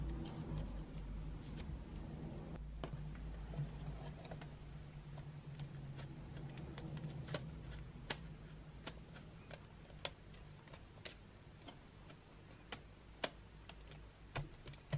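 Long white nails tap across painted wooden graphite pencils lying in an open metal tin tray. The result is a quiet, irregular run of short, bright clicks over a low, steady hum.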